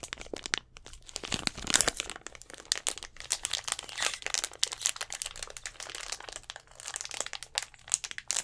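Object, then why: Thin plastic drink bottle. A clear plastic Gatorade bottle with an orange cap, hollow with a little blue liquid at the bottom, is held in both hands close to the microphone and squeezed and tapped with fingertips and nails. It gives a steady stream of bright, dry crinkling and crackling with quick taps and almost no ring, louder bunches of crinkles rising and falling throughout.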